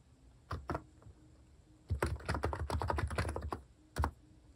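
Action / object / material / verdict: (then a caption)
tap / compact keyboard with plastic keycaps / plastic / none. Fingertips type on a compact Hanmumu electro-capacitive keyboard with plastic cat-shaped keycaps. Two separate keystrokes are followed by a quick, dense run of typing and one last keystroke. Each stroke is a short, deep, muted thock that stops almost instantly.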